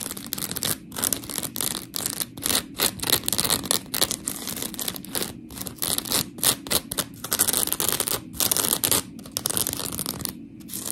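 Long pink nails scratch and tap a palm-sized, round, blue textured polymer foam scrub sponge with smiley cut-outs, held solid in one hand. The result is a rapid series of dry, gritty, bright scratching bursts with short quiet gaps between them and almost no ring after each stroke.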